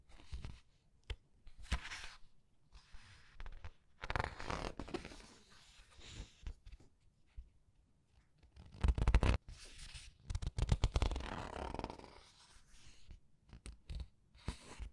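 Long red nails and fingertips squeeze and repeatedly flip the printed paper pages of a thick open paperback art book. Soft papery rustles, crinkles and brushing swishes come in irregular bursts, with sharper flips and page slaps at a few points. Low thumps from the handling sit under the dry paper sounds.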